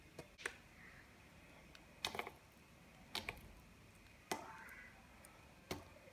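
A small solid white soap bar held in one hand is carved with a small serrated metal knife, thin curls and shavings peeling off and falling onto a pile of white soap shavings. Short, crisp scraping clicks with a bright, dry edge and almost no ring stand out over a low hiss, some coming in quick doubled bursts.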